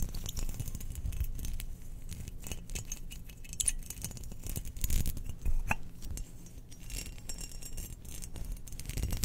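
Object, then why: Glazed ceramic jar. Long nails scratch and tap a round, hollow, glazed cream ceramic Death Star jar about the size of a large fist, held in the hands. The result is a dense run of soft, dry scratching with quick clicking taps that die away at once over a low, muffled background.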